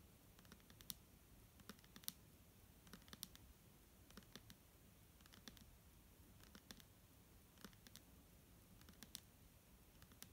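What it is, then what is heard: Plastic bottle tapped with fingernails. A clear plastic Garnier micellar water bottle with a green cap, hollow and partly full of liquid, is held in one hand and tapped on its label side with long polished nails. Quiet, dry, bright clicks come in quick uneven bursts over a faint low hiss, each tap dying away almost at once.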